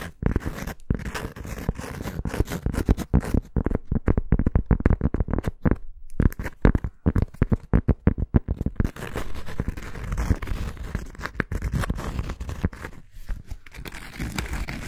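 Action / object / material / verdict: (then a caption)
scrape / thin cork coaster scratched with fingernails / cork / none. Long acrylic nails scratch the surface of a thin round cork coaster, making a dense, dry, low-heavy scraping with rapid short strokes and no ring. Brief gaps break the stream around six and eight and a half seconds before steadier scratching continues to the end.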